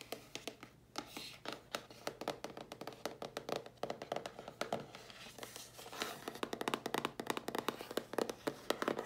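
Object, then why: Closed cardboard mailer box. A hollow, closed dark grey cardboard mailer box is held up and tapped on its sides and lid with long polished nails. The taps come in fast, dry flurries of short clicky knocks with almost no ring and little low end, growing denser and slightly louder toward the end.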